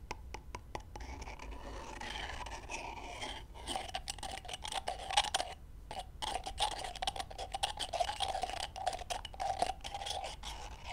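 Long fingernails and fingertips tap and scratch two whole raw brown chicken eggs held together, knocking the shells against each other. Rapid, dry clicks and crisp scraping run throughout with a bright, brittle edge and a steady mid-pitched shell tone. A faint low hum sits underneath.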